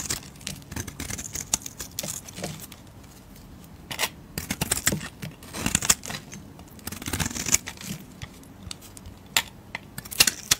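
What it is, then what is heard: Bar of soap. A blade scrapes across a solid peach bar of soap, then long red nails handle and tap the same bar. The sound is a run of bright, dry scrapes and crisp clicks with quiet gaps between them, close and short with almost no ring.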